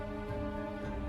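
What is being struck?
Nothing is struck.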